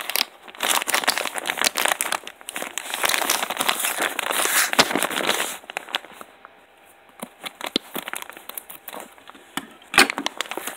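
A palm-sized white plastic polymailer shipping bag holding soft gloves is squeezed by bare fingertips, with a pen briefly held in one hand. The thin plastic gives dense, bright crinkling for about five seconds, then thins to sparse, quieter crackles, with one sharp crackle near the end.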